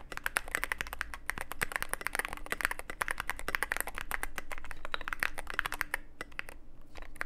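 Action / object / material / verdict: tap / mechanical keyboard with plastic keycaps and aluminium case / plastic / none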